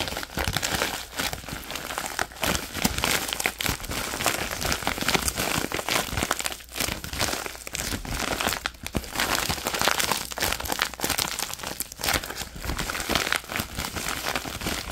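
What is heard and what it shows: An empty, opened orange padded plastic bubble mailer envelope is squeezed and crumpled by both hands with the fingertips. It makes dense, continuous crinkling and crackling that is bright and hissy, with quick snaps and short dips throughout.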